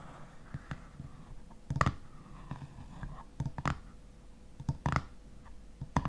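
Fingernails of both hands tap the top of a black metal screw lid on a full glass honey jar. The result is a series of short, dull, low taps centered around 140 Hz, some with a brief bright click and almost no ring. They come in loose pairs and clusters over a faint background hum.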